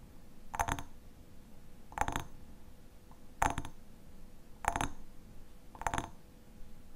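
Fingernails tap and scratch the sides of a medium, partly full hexagonal glass honey jar with a black metal lid, held in both hands. Five short, evenly spaced bursts of bright glassy clicking are heard, each with a faint ring near 830 Hz that dies away almost at once, over a low, quiet background.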